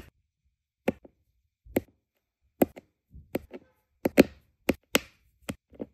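A plastic drill pen with a metal tip taps small, solid, round resin diamond painting drills into place on a flat adhesive canvas. Nine sharp, dry clicks land at an uneven pace, each fading almost instantly, with softer small ticks between them.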